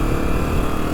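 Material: Nothing is struck.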